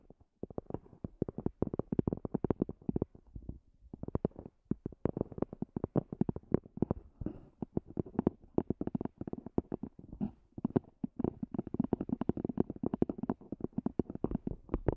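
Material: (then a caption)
EVA foam. Long fingernails tap rapidly on the top and edges of a small black zippered EVA hard-shell earphone case, a hollow semi-rigid shell with a fabric cover. Dense, quick, dry clicks with a soft hollow thump run nearly continuously, with short pauses, mostly in the low and middle range with little high content.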